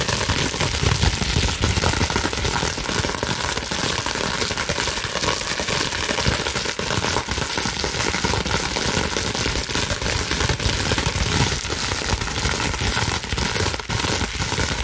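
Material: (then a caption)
Plastic. Long nails scratch and rub quickly across a clear plastic bubble wrap sheet, scrunching it. A dense, continuous crackling and rustling holds at a steady level for the whole clip, with a low rumble underneath and bright, crisp scratching on top.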